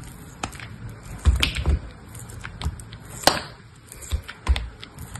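A metal blade scrapes and shaves the edges and faces of a hand-held solid cube of dried grey soap, a few centimetres across. Short, dry scraping strokes and crisp ticks sound at an uneven pace, with a low thud under the louder strokes and brief bright flicks on top. Each stroke dies away almost instantly, leaving a faint hiss between cuts.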